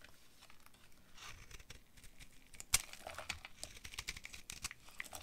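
A utility knife blade cuts and scrapes brittle flakes off a solid, hand-sized green bar of dry soap with a dark coated rim, held in one hand. Quiet, dry crinkling and crackling scrapes, mostly high and bright, come in quick short bursts. A sharper crack stands out near the middle.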